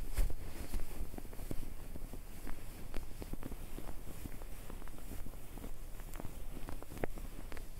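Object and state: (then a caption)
Fabric comforter. Both hands grab and crumple a white, puffy, soft filled fabric comforter (duvet) right next to the recorder. A steady, low, muffled rustle fills the clip, with faint crackles and soft thumps scattered throughout.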